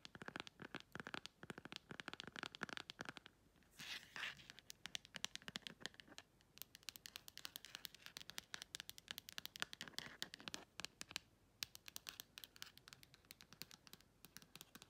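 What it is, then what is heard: Plastic phone case (scratched and tapped). Long red acrylic nails scratch the flat back of a phone-sized clear plastic case with a printed beige insert and tap rapidly along its clear plastic edge. Dense, fast, sharp clicks and crisp scratching fill the clip, with a brief softer scraping stretch near the four-second mark. The sound is bright and dry, with almost no low end and no ring after each tap.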